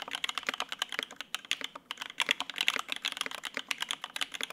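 Both hands type rapidly with the fingertips on a Lin Works Whale 75, a 75% mechanical keyboard with white and grey double-shot ABS keycaps, a polycarbonate plate and lubed linear Opblack switches, resting on a desk mat. The keys bottom out in a quick, uneven stream of short, bright clacks with almost no low end and no ring after each press.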